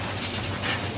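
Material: Nothing is struck.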